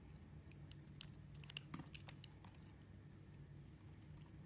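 A metal blade carves a purple translucent glycerin soap bar held in fingers with dark nails, slicing small cubes from its scored surface. Soft, crisp clicks and snaps sound in an irregular cluster, bright and very short, over a quiet low hum.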